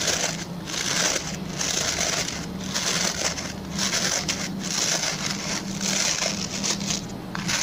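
Fingertips and short nails scratch the plastic pin bristles of a hand-sized, oval white plastic brush held at an angle. The result is a steady, dense, bright crackling scratch that swells and eases in short strokes, over a faint low hum throughout.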